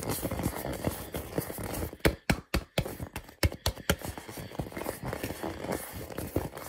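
A hand-sized hollow purple rubber or plastic ball, held close to the camera, is tapped rapidly with fingertips and nails. The result is a steady, irregular patter of soft, dull, low thumps with a faint brushy texture. Midway, the taps become sharper, louder and more spaced out, with brief silences between them, before settling back into a quick patter.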